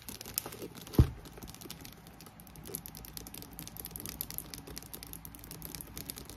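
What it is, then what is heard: Faux leather handbag. Long nails rapidly tap and scratch the front and handles of a hollow black croc-embossed faux leather handbag with a metal clasp, making a dense patter of soft taps and crinkly scrapes. One sharper, louder knock stands out near the start. A fan runs throughout, adding a steady low hum and airy hiss.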